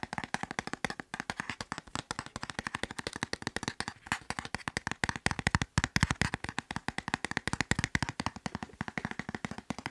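A soft white plastic wet wipes package, filled with wipes and held upright, is tapped rapidly and continuously with fingertips and nails. The result is a dense stream of short, dry taps with a soft low thump and a light crinkly brightness, each dying away almost instantly.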